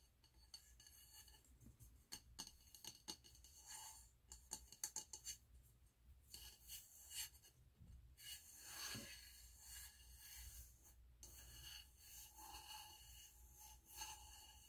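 Fingernails scratch and rub the frosted surface of a medium wax-filled glass candle jar with a gold lid, held in the hands. The sound is a quiet, bright, dry rasping, with a cluster of sharp clicks early on and longer grainy strokes later.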